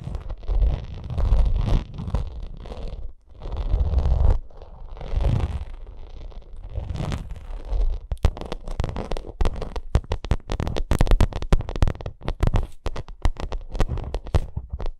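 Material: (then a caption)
Vinyl. Long acrylic nails scratch across the raised texture of a white, bumpy vinyl cosmetic bag. For the first half, the scratching is a continuous low, rumbling scrape in long strokes, then it breaks into a rapid stream of short, sharp crackling scratches. The sound is close and full in the low end, with bright clicky edges on each stroke.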